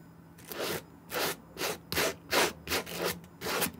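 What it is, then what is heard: Suede brushed. A white plastic-bristle suede brush is stroked across the upper of a clean, dry green suede Nike SB Air sneaker with a gum sole, held in the hand. Eight short, bright, dry brushing rubs are heard in a loose back-and-forth rhythm, each a soft hiss with a faint lower body and quiet pauses between.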